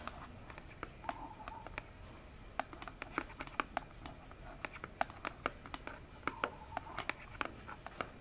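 Long fingernails quickly tap the front face of a hollow orange cardboard phone box standing upright. The result is a quiet, irregular stream of short, sharp clicks that stop almost instantly, with a hollow midrange tone and bright ticks over a low background hiss.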